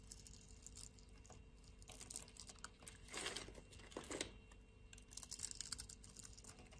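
A metal blade shaves the surface of a solid, grid-scored pink bar of soap held in the palm. Quiet, bright, crinkly scraping and crunching pile up in rapid bursts, swelling louder near the middle and again toward the end.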